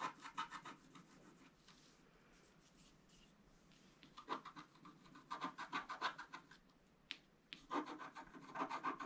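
A wooden stylus scratches the coating of a thin, flat, black-coated scratch-art card while the other hand steadies the card. Bursts of quick, dry scratching strokes with a rasping midrange around 1 kHz start the clip, fade to a near-silent pause, then return in busier runs with a faint bright edge.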